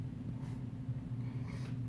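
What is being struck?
Nothing is struck.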